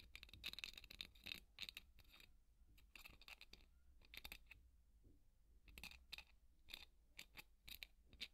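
A large white solid styrofoam ball, held in one hand, is scratched with the wooden bristles of a hairbrush. Quick bursts of bright, squeaky scratching with a crunchy edge and a tonal squeal near 2.6 kHz come in clusters, separated by quiet pauses with only faint rustling.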